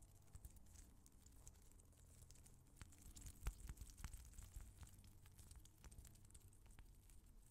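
A small translucent rubber squishy ball filled with colored water gel beads is held in the fingers close to the mic and repeatedly slapped and patted with the open palm of the other hand. The result is a quiet, dense patter of low, muffled thumps with faint bright crackles and squishy clicks. A few sharper slaps stand out near the middle of the clip.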